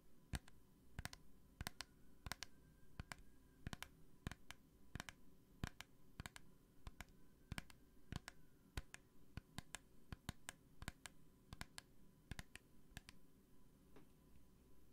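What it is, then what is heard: Plastic hand sanitizer bottle. Long painted nails tap and click rapidly on a small clear plastic hand sanitizer bottle with a green cap and gel inside. The clip is a quiet, steady series of sharp, dry, bright clicks that stop instantly with no ring, over a low background hum.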